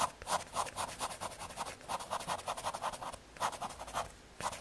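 A graphite pencil scratches light shading strokes across the surface of a small square of thin, solid brown MDF fiberboard. About fifteen quick, rhythmic back-and-forth strokes give a dry, papery scratch centered around 1 kHz with a bright hiss on top. There are brief pauses near the middle and end.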